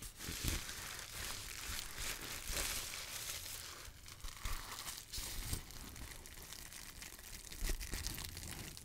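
A sheet of clear plastic bubble wrap, held close up, is crinkled and squeezed by fingers with long nails. It makes a steady, bright crinkling crackle with soft low thumps underneath and a few louder snaps poking out along the way.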